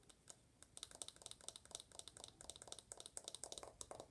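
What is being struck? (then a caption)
Aluminum smartphone back. Long nails tap rapidly on the rose-gold aluminum back of an uncased iPhone. The result is a quick, uneven stream of sharp, bright clicks with almost no ring and little low end, soft overall.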